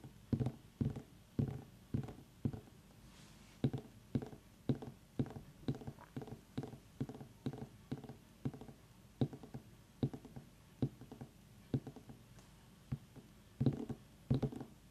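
Long manicured nails tap the ribbed rind of a small whole orange pumpkin with its stem, resting on a wooden table, while an essential-oil diffuser runs nearby. Quick, soft, dull thunks with a low hollow body and very short decay come in a steady, uneven series over a faint constant hiss.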